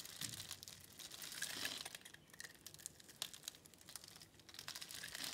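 A metal box-cutter blade carves and scrapes small cubes off a solid pink bar of soap, pre-scored in a grid and held in the hand, and the crumbled soap falls onto a pile. The sound is a quiet, dry, bright crinkling and crunching, made of rapid crisp ticks with almost no low end. It swells and fades in waves as the blade works.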